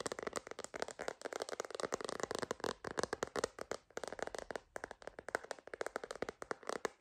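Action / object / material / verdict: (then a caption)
tap / hard plastic phone case tapped with fingernails / plastic / none. Long green nails tap rapidly on a purple glitter phone case with a holographic rim, a hollow hard plastic shell held upright. The taps are quick, dry clicks with almost no low end, a hollow tone around 480 Hz, and each one dies away almost instantly.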